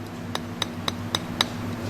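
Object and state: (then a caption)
Hollow copper-tube capacitor can. Five light, evenly spaced taps on the copper tube casing of a Weber can-type filter capacitor, a guitar amplifier replacement part taken out of a Fender Princeton, give short bright clinks with almost no ring over a low steady hum. The can sounds hollow, showing it is not completely filled with epoxy.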